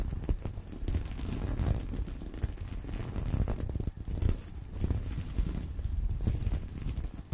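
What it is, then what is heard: Plastic sequin purse. Fingernails scratch across a flat fabric purse covered in plastic sequins, resting on a corduroy pillow, flipping the sequins over. It makes a steady, soft, mostly low scraping rustle with frequent brief clicky bursts and a faint high sheen on top. The texture stays continuous throughout with no long ring after each stroke.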